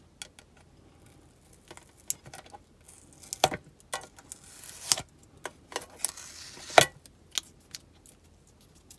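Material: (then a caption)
Metal. Long nails tap the lid and sides of a small, hollow black-and-gold metal tin soap box, held closed in both hands with the soap inside. About fourteen light, bright ticking taps come at an irregular pace, each short and dry with almost no ring.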